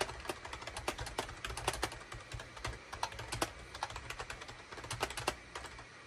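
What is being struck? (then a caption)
Plastic computer keyboard. Rapid typing with the fingertips of both hands on a full-size gray, cream and orange SHIPADOO K600 wired USB keyboard with a hollow plastic housing, resting on a desk mat. A quick, steady stream of short, sharp plastic clacks with bright, crisp tops, each dying away almost instantly over a faint low hum.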